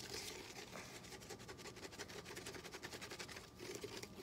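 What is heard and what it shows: A small, hollow, yellow, lemon-shaped plastic lemon juice squeeze bottle with a dimpled texture and a green cap is held in both hands and scratched and rubbed with short fingernails. The result is a quiet, steady stream of rapid, crisp scratching strokes with a bright, textured hiss and a faint hollow tone.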